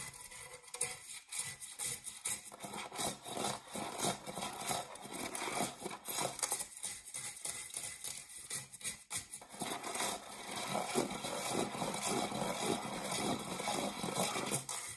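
Fingernails scratch the base of an empty, dark metal springform cake pan held upright. The result is a continuous, uneven scraping and rubbing, with a bright, papery hiss and little low end.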